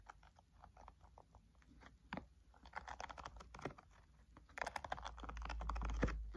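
Fingertips tap quickly and rhythmically on the top cover of a thick, green-covered spiral notebook lying flat on a table, its solid paper stack giving each tap a soft, dull, papery knock. The taps come in irregular bursts over a low steady hum that swells louder toward the end.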